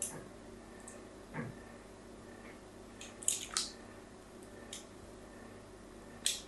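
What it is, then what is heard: Bar of soap being scored. A solid pink "Absolut" bar soap, held in the hand, is crosshatch scored with a metal tool. Seven soft, bright scraping clicks stand out over a low, steady background hiss, and each fades within a fraction of a second.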